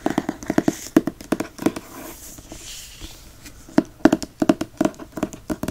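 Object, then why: Hardcover book with paper dust jacket. Fingertips tap quickly on the paper dust jacket of a hardcover book, making short, dull, papery knocks centered around 300 Hz that die away almost at once. A soft, hissing trace across the front dust jacket fills the middle of the clip. The fingertips then scratch the back cover in another burst of crisp taps and scratches.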